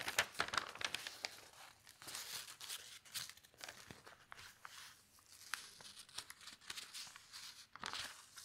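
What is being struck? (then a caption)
Newsprint newspaper page. An open newsprint newspaper has a page turned and then pressed flat with the fingertips. The result is a continuous run of dry, crisp crinkling and rustling, with quick sharp crackles over a bright, hissy texture and almost no low end.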